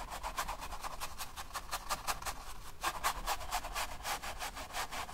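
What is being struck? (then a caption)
Flat paint brush on oil-painted stretched canvas. A flat paint brush rubs wet oil paint along the edge between the red and black areas of a long rectangular stretched canvas lying on a table, in rapid, repeated back-and-forth strokes. Each stroke makes a soft, bright, scratchy swish, forming a steady rhythmic brushing over a faint low background rumble.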